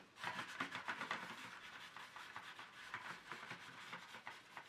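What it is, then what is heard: Plastic paint tray insert rubbed with tissue. Fingers press a folded tissue into the slots of an empty, hollow, ridged black plastic paint tray insert and rub it along them. The result is a quiet, dry, scratchy rubbing made of rapid repeated strokes with a bright papery hiss.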